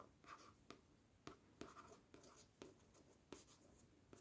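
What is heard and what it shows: The tip of a thin wooden stick taps and scratches across the glossy paper front cover of a yellow paperback book held in one hand. About eleven quiet, short, crisp taps are heard, mixed with a soft papery scratching between them.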